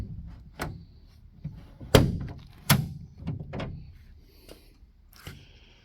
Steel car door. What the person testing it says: let me open this door and let you hear it shut really solid sounding